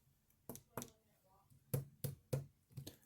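A Mattel Creeper action figure from the Minecraft movie is tapped seven times in an uneven rhythm. Each tap is a short, dull knock, mostly low in tone, that dies away almost at once.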